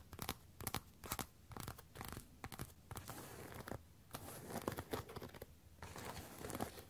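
Long nails tap and scratch the glossy fronts of worn black patent platform boots decorated with bat wings. The sound is a quick run of dry, sharp clicks and scraping scratches with a crinkly, tearing texture, each one dying away almost at once.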